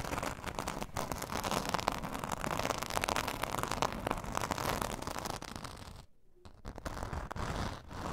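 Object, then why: Glitter foam craft sheet. Long nails on both hands scratch the rough surface of a glitter foam craft sheet lying flat on fur. The result is a dense, continuous crackling scrape centered around 940 Hz with bright edges. It drops into a brief near-silence around the six-second mark before the scratching resumes.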